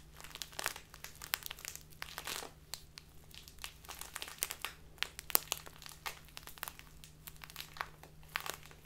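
A small plastic bag filled with tea is crinkled and squeezed with fingertips and long nails, giving a continuous run of quick, bright crackles and crinkles. The sharp, dry snaps vary in strength, with a few louder pops, over a faint steady low hum.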